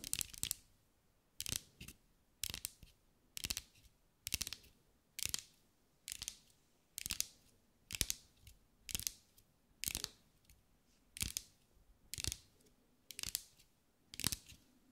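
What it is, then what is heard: Glass mosaic ball. A green mirror-glass mosaic sphere, held in the hands, is tapped with long acrylic nails. Short bursts of quick, bright, clicky taps repeat roughly every second. Each tap dies almost instantly, with little low-end body and near-silent gaps between bursts.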